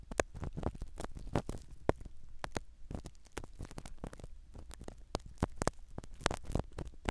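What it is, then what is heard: Foam microphone cover scratched. A black spiral ear pick scratches the foam cover of a small black microphone set inside a silicone dummy ear. It makes close, dense crackling and scraping bursts over a soft low rumble, with short sharp clicks scattered throughout.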